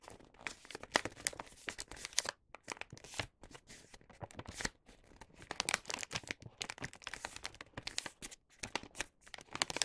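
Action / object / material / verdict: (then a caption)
scrape / paper gift bag / paper / none. Both hands fold the top edge of a star-print paper gift bag filled with snacks and run their fingertips along the crease. The clip is a dense stream of crisp, bright paper crinkles and crackles, with only a few brief pauses. The sound is quiet and close, with almost no low end.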